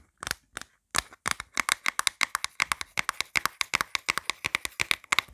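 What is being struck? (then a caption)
Empty plastic phone case. Long black nails rapidly tap and scratch the inside of an empty, hollow, light grey plastic phone case. About 35 sharp, dry clicks with almost no ring follow in a quick, uneven rhythm after a few sparse opening taps. The sound is bright and centered around 2 kHz, with almost no low end.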